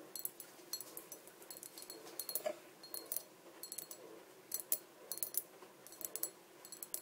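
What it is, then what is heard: Small clear glass bottle tapped with fingernails. Long dark painted nails tap the sides of a small, empty, hollow clear glass bottle standing on a table. Quick clusters of bright, glassy clicks come in uneven bursts, each dying away almost instantly. The tapping is quiet, with almost no low end.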